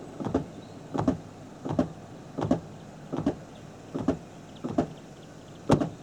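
The metal rear door of a Chery Tiggo 4 Cosmo is shut about eight times, each closing giving a short, clapping thump with a brief rattle, similar to a trunk lid. The sound is abnormal: something inside the door moves, suggesting a loose part, though the cabin air bypass valve is also possible and no cause is confirmed.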